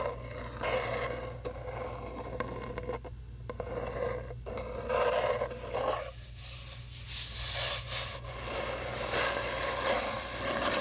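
Long nails slowly rub and scratch along a long, hollow brown cardboard tube, making a continuous raspy scraping with a hollow resonant tone. Brighter, airier scratches swell and fade over a steady low hum.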